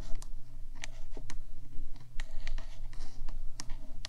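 Two hands with long black nails scratch and tap the top of the black, rectangular, hollow metal housing of a 3Dio binaural microphone about 15 cm wide. Sharp, bright clicks from the nail taps stand out against a soft scratching texture and a steady low hum, with each tap dying away almost at once.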